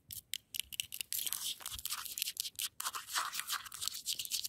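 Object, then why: Icy snow crust scratched and tapped with fingernails. Long acrylic nails scratch and tap a hard, icy frozen snow crust outdoors. Rapid bursts of bright, crisp crunching and scraping come in quick, uneven strokes with brief silent gaps. The sound is high-pitched, with almost no low end.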